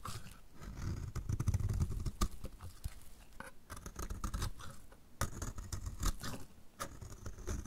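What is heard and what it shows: A solid, dry, orange-striped bar of soap held in the hand is scraped repeatedly with a utility knife blade. Dry, crumbly scraping strokes come in quick succession, broken by sharp, bright clicks as the blade bites into the soap, over a low, muffled rumble of handling.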